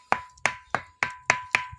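A rock that is really stone, not iron, is struck six times in a steady rhythm. Each strike rings with a clear metallic tone near 1 kHz and bright overtones. It sounds like metal.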